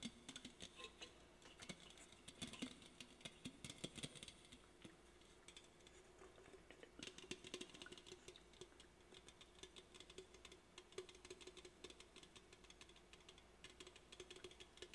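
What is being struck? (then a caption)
Aluminum drink can. Fingernails tap rapidly on the body and top of an aluminum soda can held in the hand. The result is a quiet, continuous patter of bright, dry clicks with very short ring, coming in uneven bursts over a faint low hum.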